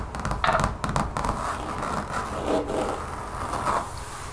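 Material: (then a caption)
Rubber. Long nails and fingertips scratch and tap a large, thin, solid brown textured mat, apparently rubber or vinyl, lying on a table. Quick taps and rough, gritty scratches blend into a dense, muffled rasp centered in the mid-range, with little brightness and a faint low rumble underneath. The strokes fade quickly, leaving a dull, close texture.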